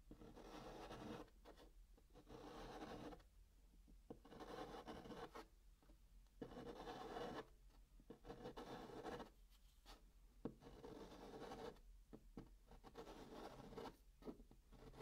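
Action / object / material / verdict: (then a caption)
scrape / chalk on a cardboard box top / cardboard / none. A hand draws small white chalk circles on the flat top of a brown kraft cardboard box. The chalk makes dry, scratching, rasping strokes in repeated bursts with short pauses between them. The sound is mostly low-mid, with little bright edge.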